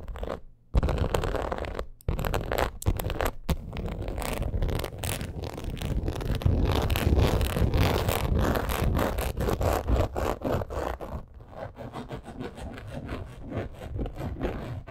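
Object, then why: Crocodile-embossed leather purse. Long acrylic nails scratch quickly across a black crocodile-embossed leather purse, making dense, rapid, irregular scraping strokes. The rough, low-heavy rasp runs almost without pause, dropping out briefly only near the start.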